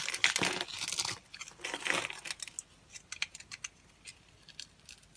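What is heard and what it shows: A utility knife blade cuts and shaves pieces off a solid, palm-sized white bar of dry soap held in a hand with long green nails. Dense, bright, crisp crunching and scraping fill the first two seconds, then thin out into scattered short, dry crackles and clicks with almost no low end.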